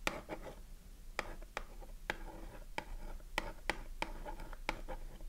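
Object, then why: Cardboard soap box with a bar inside. A small cardboard Dove soap box is held in the hand with the bar inside while a long nail scratches and taps its printed front. Quick, dry taps with short, papery clicks stand out over a soft, steady scratching. About ten sharp taps are spread across the clip.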